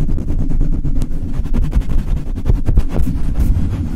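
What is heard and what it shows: The bare black metal mesh grille of a Blue Yeti microphone is rubbed fast with the palms and fingertips, with some nail contact. It makes a dense, boomy, low rumbling friction with rapid scratchy strokes, and almost all the energy sits in the deep bass while the top end stays dull.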